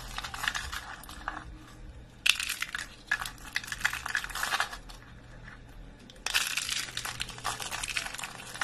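Thin, dry off-white soap sheets are bent and crushed between fingers into brittle flakes. Bursts of crisp, bright crackling and crunching come in waves, with quieter rustling between them. The sheets break into brittle flakes.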